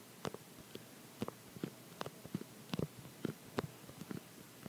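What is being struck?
Plastic phone case.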